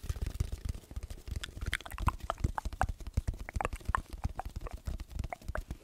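An empty, hollow brown cardboard roll, about 25 cm long like a paper towel or toilet roll tube, is held in both hands in front of a microphone and tapped and scratched with the fingertips and nails. It gives a quick, steady run of soft, deep, hollow thuds that die away almost at once, with faint scratchy clicks between them.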